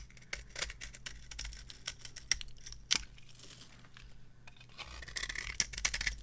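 A small metal blade carves curls and shavings off a dry, cream-coloured bar of soap with a gold-coloured top, held in the palm. The cuts make crisp, bright scraping and crackling strokes with sharp, dry attacks, over a faint steady low hum.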